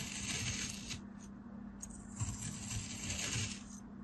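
A craft knife blade slices repeatedly through a solid, molded beige kinetic sand dome resting on a blue surface. Each cut gives a soft, gritty, crumbling hiss with bright, crisp sandy texture, over dull low thuds and a faint steady low hum.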